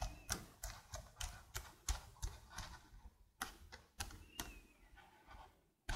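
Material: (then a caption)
Plastic. Long blue nails type quickly on a slim black plastic computer keyboard, producing a rapid run of sharp, separate clicks. Each tap has a bright top and a low thump underneath, and dies away almost instantly, with brief gaps between bursts.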